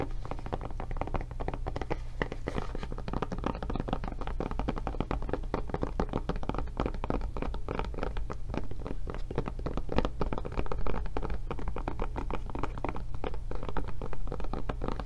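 Long nails tap rapidly and continuously on the padded back of a blue silicone rubber tablet case with a solid tablet inside. The taps are dull, muffled thunks that die away almost at once, with most of their energy in the low range and little brightness.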